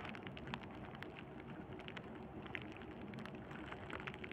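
A sheet of clear plastic bubble wrap, held in both hands over burlap, is squeezed and crinkled with the thumbs and fingertips. The result is a steady, quiet, rain-like crackle with scattered sharp, bright clicks and small pops throughout.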